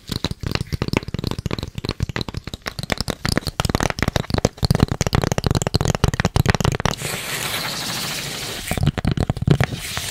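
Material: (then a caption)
Cardboard. A long, narrow, hollow brown corrugated cardboard box, held in both hands, is tapped rapidly along its length with long red acrylic nails, giving quick, dry, hollow knocks with a low, boomy body. Around the seven-second mark the nails switch to a steady, bright scratching across the corrugated surface, then return to a few final taps.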